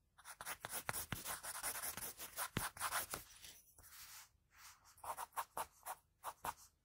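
A pencil held on its side rubs long shading strokes across the hair area on a sheet of drawing paper. It makes a soft, bright, dry scratching. A dense stretch of strokes gives way to shorter, separate swipes with brief pauses between them.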